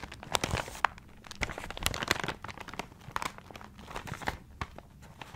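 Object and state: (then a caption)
Paper-wrapped gift. A paper-wrapped gift is turned in the hands while its paper is crinkled and scratched with the fingertips. Dense, quiet crinkling and scratching is broken by sharper, bright crackles and short snaps of paper.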